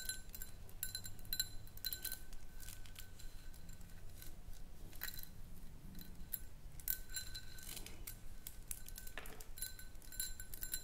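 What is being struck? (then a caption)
Small round glass jar. Long nails tap around the sides of a small, round, empty clear glass jar. The result is quiet, quick clicks with a bright glassy tinkle that dies away almost at once, over a steady low background hum.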